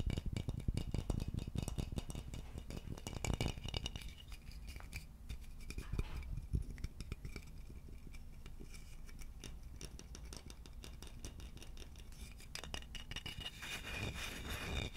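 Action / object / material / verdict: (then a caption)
tap / polished wooden vase / wood / none. A medium-sized, empty, hollow polished wooden vase with a narrow neck is held close to the microphone and tapped and scratched with fingertips and nails. Quick, irregular dry knocks with a deep, hollow low body die away almost instantly, mixed with soft, bright scratching across the surface. The sound stays fairly quiet and steady throughout.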